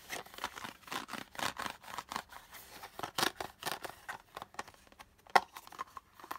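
Fingertips and nails scratch and tap the textured surface of a small, hollow, pink quilted-pattern hard plastic toy purse with a handle, and its lid is opened and closed; the purse is empty when opened. A quick run of dry, crisp scratches and light taps fills the clip, bright and mid-focused with almost no low end, and each one stops short with no ring. One sharper, louder click stands out near the end.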